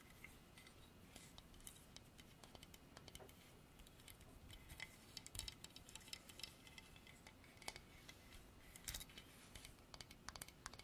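Long dark artificial nails tap and scratch a solid carved horse statue of dark polished hardwood on a base. Quiet, dry, bright clicks and short scratchy rasps come in an irregular stream, with a few louder taps standing out. Each one dies away almost at once over a low, steady background hiss.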